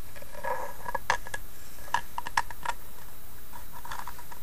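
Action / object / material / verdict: tap / small carved wooden box / wood / none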